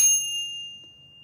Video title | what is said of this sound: Silver Bar - Ping Test - Better Sound! | 10 ounce has such a beautiful resonance to it